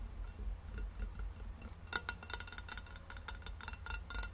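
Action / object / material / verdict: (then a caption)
tap / insulated stainless steel water bottle / stainless steel / none. Long red nails tap and scratch quickly along the sides of a hollow rose-gold stainless steel insulated water bottle standing upright on a wooden table. Short, bright metallic clicks and taps die away almost instantly, with light scratching between them over a low background rumble. The tapping grows sharper and busier in the second half.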